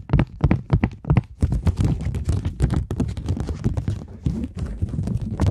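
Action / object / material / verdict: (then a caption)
scrape / polymer banknote / polymer / none. A polymer £20 banknote is held taut in both hands and scratched with long nails, giving a run of short, dull, low thumps. It is then crinkled into a denser, continuous rustle of quick, dry, close-up taps and scrapes.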